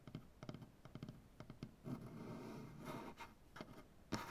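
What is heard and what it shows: Fingertips with short-to-medium black-painted nails tap and scratch a large solid light-wood maple butcher block tabletop. Quick, dull, low knocks come in small clusters, then a soft, rasping scratch runs across the grain. A few more taps follow, ending on a slightly louder knock.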